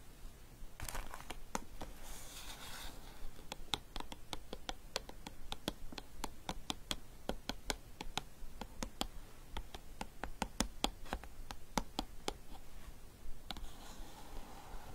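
Long dark painted nails tap and scratch a small, closed, hollow green printed cardboard gift box with an orchid design. Sharp, quick clicking taps come in a steady run, with brief papery scratching near the start and at the end.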